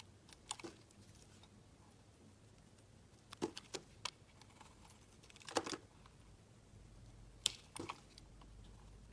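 A solid pink-white marbled oval bar of soap, held in the hand, is shaved with a utility knife, and long curls peel off. Short, crisp, bright scraping and clicking strokes come in scattered bursts over a quiet, low hum.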